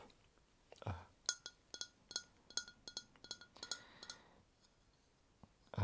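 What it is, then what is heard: Double-walled glass cup. A transparent double-walled glass cup, with walls that let you see the liquid inside, is tapped repeatedly. It gives bright, short glassy clinks with high ringing overtones. About a dozen distinct taps come through, with a soft thump before them and another at the end.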